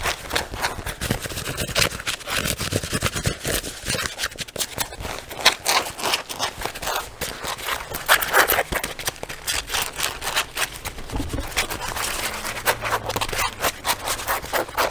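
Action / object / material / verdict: scrape / leather jacket / leather / none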